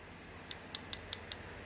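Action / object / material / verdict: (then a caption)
tap / lime plaster Buddha amulet / lime plaster / hard. A Phra Somdej lime-plaster Buddha amulet with a fishbone pattern on its back is tapped five times, giving short, bright clicks with a high ringing edge that dies away almost at once. The hard, sharp sound reflects the hardness of the plaster body, possibly a mixed lime.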